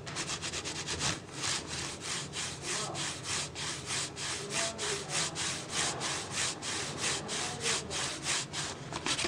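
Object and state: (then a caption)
Plastic water bottle. Fingers and nails scratch and rub the ribbed sides of an empty, hollow, clear PET plastic water bottle. The result is a steady run of bright, scratchy strokes that swell and fade at a loosely regular pace, with little low-end weight.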